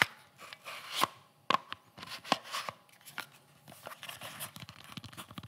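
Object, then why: Molded polymer double magazine pouch. A hollow, empty black molded polymer (kydex) double magazine carrier is held in the hands close to the mic and tapped and scratched with fingertips and nails. Sharp, dry clicks and taps with almost no ring mix with bright, scratchy rasps, and there is very little low end.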